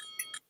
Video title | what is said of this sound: 🔴 TODAY IS A WONDERFUL FRIDAY EVENING!!!!!!!!!!!!!!!!!!!!!!!! (LIVESTREAM WITH DALE!!!!!!!!!!!!!!!) | one thing about the Bell when I tap it like this is that sounds like a railroad crossing Bell